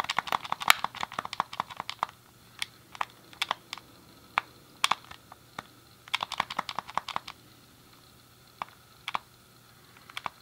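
A thumb clicks the D-pad and fingertips press the face buttons of a hand-sized, hollow, grey plastic SNES game controller. Quick, sharp plastic clicks come in dense flurries at first, then thin out into scattered single taps. Each click is short and bright, with no ring afterward.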